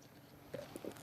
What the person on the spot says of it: it kind of sounds like wood